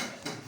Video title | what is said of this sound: Formation des jeunes en Apiculture | Ici là, on a tapé. Donc, comme ça veut dire que ici il y a du miel.